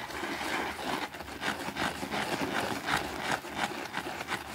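A white plastic brush scrubs a small, thin green fabric rug that is wet and soapy on a concrete floor. Rough, bristly scrubbing strokes repeat at an uneven pace, each a broad, hissy wash of sound with a bright edge and little low end.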